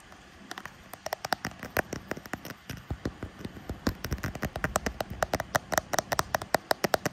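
Short painted fingernails rapidly tap the back of a smartphone's frosted translucent plastic case near the camera bump, which has a pink metal camera ring. Dozens of crisp, dry, mid-pitched clicks come in an irregular stream and stop almost instantly with no ring, over a faint steady hiss.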